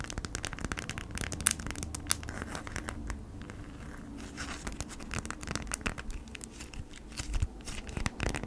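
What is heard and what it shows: Long nails scratch and tap a folded beeswax-coated cotton food wrap with a honeycomb print, held in the hands. The result is dense, dry crinkling and scraping, punctuated by frequent sharp, bright clicks over a low rumble, with a few louder taps standing out.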